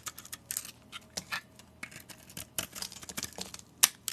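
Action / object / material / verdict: scrape / bar of soap shaved with a knife blade / soap / none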